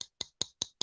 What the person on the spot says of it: it sounds like the savivi micarta